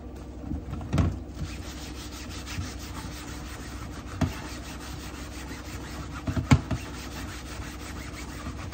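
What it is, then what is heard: Plastic cutting board being scrubbed. Gloved hands scrub a flat, solid, translucent plastic cutting board lying in a sink with a yellow-green sponge, two knives resting still beside it. A steady, low, muffled rubbing runs throughout, broken by a few short, louder bumps and scrapes, most noticeably near 1, 4 and 6.5 seconds.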